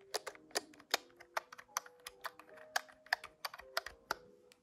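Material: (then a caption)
Plastic. Several fingertips rapidly tap the keys of a large, hollow, grey-white plastic desktop calculator, producing about seventeen sharp, bright clacks in an irregular rhythm. Each clack stops almost instantly, with a faint tonal ring underneath.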